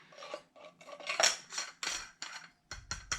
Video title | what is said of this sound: Unboxing TONOR Wireless Microphone,Metal Dual Professional UHF Cordless for karaoke Mic | the housing sounds like metal